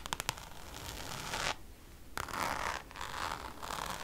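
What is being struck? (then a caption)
Coated canvas pouch. Long nails scratch the textured surface of a held-up Louis Vuitton pouch made of Damier checkered coated canvas. Three quick, sharp taps open the clip, followed by bright, raspy scratching strokes. A short quiet gap comes before the scratching resumes in longer, rougher passes.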